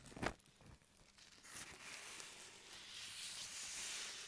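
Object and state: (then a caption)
Thin plastic bag. Fingertips and nails scratch, crinkle and crumple a large, thin, translucent plastic mailing bag with green print lying flat on a table, with two small microphones resting on it and a small crumpled or torn piece bunched in the fingers. A sharp crackling burst opens the clip, followed by steady, bright, high rustling and crinkling that carries through to the end.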